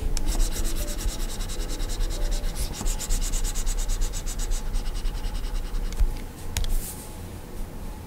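A plastic stylus nib is dragged across the flat, solid glass screen of a 21.5-inch Gaomon PD2200 pen display while sketching. It makes rapid, steady rubbing and scratching strokes over a low rumble, with a faint bright hiss. The strokes ease off and grow quieter near the end.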